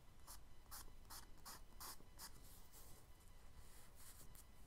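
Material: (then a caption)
Paper. A charcoal stick held in the fingertips is rubbed and stroked across a brown kraft paper page of a spiral-bound sketchbook lying flat on a dark table while drawing. Quiet, dry scratchy strokes come in short bright bursts, turning to softer, more continuous rubbing over a low background rumble.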